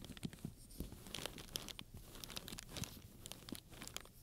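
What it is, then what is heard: Studded leather handbag. A wooden pointer and long-nailed fingertips tap and scratch the metal studs and black pebbled leather on the front panel of a studded leather handbag. The result is a quiet run of quick, dry, bright clicks over soft low thuds, with scratchy, crinkling rasps in between. Each tap dies away almost at once.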